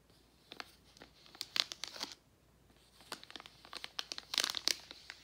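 A gold Werther's metallized foil-plastic candy bag is rubbed, crinkled and turned over by hand. Sharp, bright crinkles and crackles come in two busy bursts separated by a brief quiet pause. Each snap is dry and dies away at once, with almost no low end.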